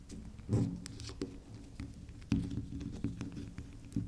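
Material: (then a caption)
Soap. Long nails scratch and tap the spiral top of a round, soft pink swirl bar soap that is solid and unwrapped. Soft, dull taps and faint scratching patter at an uneven pace, with a few louder knocks standing out. The sound stays muffled and low with little bright ring, each tap dying away quickly.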